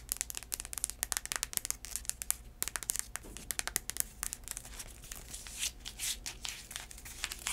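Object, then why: Heeled sandal with braided straps and outsole. Long acrylic nails scratch and tap the tan outsole and straps of a black braided heeled sandal that has been turned over. Quick, sharp, bright clicks come in rapid bursts over a faint low hum. Toward the end they give way to longer, swelling scratching passes.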